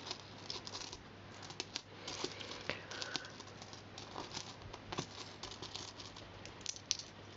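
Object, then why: Small metal coins on carpet. A pile of mixed small solid metal coins on carpet is picked up, stacked and gathered with fingertips. The coins give soft, bright, short clinks and taps with quiet shuffling in between, over a faint low steady hum.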